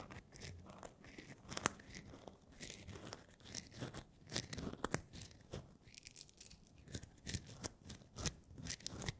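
Fingertips stir and rub whole roasted coffee beans, small, hard and dry, inside a wooden bowl. It makes a quiet, continuous rustling crunch as the beans shift against each other and the wood, with frequent sharp, bright clicks rising above it. The loudest clicks come at about 1.6, 4.9 and 8.3 seconds.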